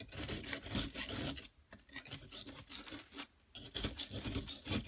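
A hand with long nails holds a solid yellow plaster excavation block while a flat metal blade tool scrapes across it. Dense, bright rasping scrapes repeat in quick strokes, broken by two brief quiet gaps, before the scraping resumes at full strength.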